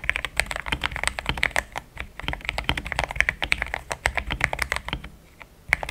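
Fingertips of both hands type fast on a compact pink-white mechanical keyboard with thick plastic XDA keycaps, a polycarbonate plate and linear switches, resting on a desk mat. A rapid stream of short, bright plastic clacks centred around 2 kHz dies away almost instantly, with a brief lull near the end before the typing resumes.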